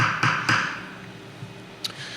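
Knuckles knock three times in quick succession on a conference table top of plastic laminate (Formica) over wood, with wooden sides. Each knock is a short, bright, hollow tap that rings briefly and fades within about half a second over a faint low hum, followed by a couple of light ticks. The knock shows the top is laminate, not solid wood.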